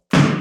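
A tennis ball thrown against the wood floor of a pier and beam house lands with a single low, hollow thud. The floor sits over a crawlspace, and the strike rings briefly with a boomy resonance around 145 Hz. The very hollow sound is expected for this kind of floor.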